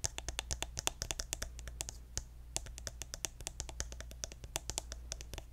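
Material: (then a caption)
Plastic. A hand-sized pink plastic lotion bottle with a gold plastic cap, held sideways, is tapped with fingernails on its body and cap. The result is a rapid, uneven stream of crisp, bright clicks and ticks that die away almost instantly. A steady low hum runs underneath throughout.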